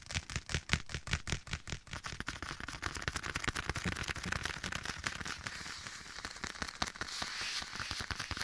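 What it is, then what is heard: Leather glove. Bare fingertips tap and scratch a black leather glove worn on one hand and held up to the right side of a microphone. The result is a fast, uneven run of crackly taps with a low thump under each one and a bright scratchy hiss. The taps are spaced apart at first, then blur into a dense, steady crackle.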